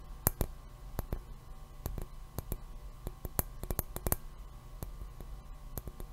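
A hollow, empty, round white milk glass globe lampshade, held in one hand beside the mic, is tapped and clicked with the fingernails of the other hand. An irregular series of sharp, dry clicks stands out, each dying away almost instantly with no ring. A steady low hum sits underneath throughout.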